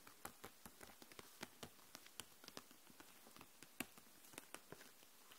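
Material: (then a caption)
Plastic. Long nails tap and scratch across the plastic marker barrels in a clear plastic case full of markers lying flat. About twenty quiet, sharp clicky taps with bright, crisp tops sound in an uneven pattern, each dying away almost at once over a soft scratchy hiss.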